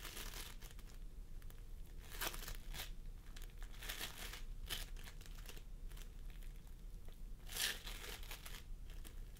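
Fingertips of both hands press and squish a pastel mound of sticky floam sculpting foam made of polystyrene beads on a wooden table. The result is a steady run of soft, crinkly crackles and squelchy pops, with a few brighter, sharper bursts over a low, constant background rumble.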